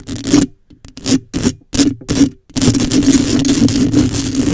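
Long acrylic nails scratch the metal mesh grille on the head of a black condenser microphone. Short, gritty scratching bursts separated by silence give way after about two and a half seconds to continuous rough scraping. A steady low tone around 290 Hz sits under a bright, hissy texture.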